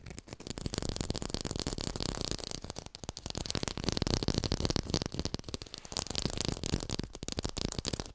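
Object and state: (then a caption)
Artificial textured lime. A textured artificial plastic lime is fast-tapped and recorded with a hi-fi mic. Dense, rapid, dry taps run continuously with little ring, briefly easing around the third and seventh seconds before picking back up.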